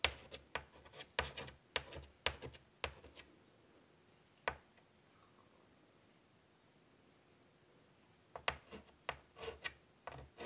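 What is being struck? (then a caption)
Chalk on a wood-framed chalkboard. A hand draws with chalk on a large, flat black chalkboard in a light wood frame lying on a table, scratching it across the board surface. Short, dry, bright scratching strokes come in quick bursts, then a single stroke and a long quiet pause, before another cluster of strokes near the end.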